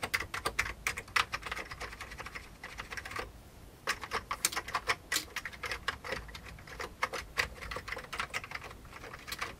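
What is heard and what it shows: Fingertips of both hands type rapidly on an old beige full-size plastic computer keyboard with hollow keycaps. Its bright, hollow clicks come in quick, uneven bursts, with a short pause a little past three seconds before the typing resumes. Each tap stops almost at once, with no ring.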